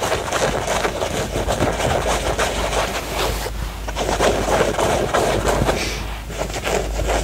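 A pair of blue denim jeans, a soft, hollow cotton fabric garment, is held up and scratched and rubbed along the leg with fingertips and short nails. The result is a steady, dense rasp of fabric scratching with quick, irregular strokes spread across mid and bright frequencies. A low, constant hum sits underneath.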